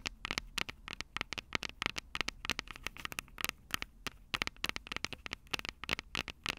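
Long purple nails tap and scratch the two silver metal mic capsules on the plastic body of a Tascam DR-05 handheld recorder. Dozens of quick, dry, bright clicks and scratches, centered near 2.2 kHz, come in uneven bursts with almost no low end and no ring after each hit.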